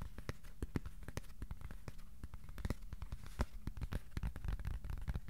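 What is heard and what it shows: Fingertips tap on a piece of cardboard, sometimes slowly and sometimes quickly. A steady, uneven stream of short, dry taps sounds, each a soft low thud with a brief bright click and almost no ring.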